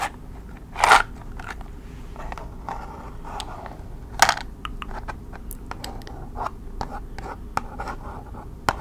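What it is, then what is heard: Cardboard matchbox. Long red nails tap and scratch the printed surface of a small red cardboard box of strike-on-box kitchen matches, full and held in both hands. Irregular, dry scratches and light taps come through as short midrange bursts over a quiet background, with a few louder scrapes standing out.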